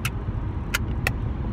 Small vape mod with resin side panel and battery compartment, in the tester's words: The only thing I'm not too fond of is it sounds hollow.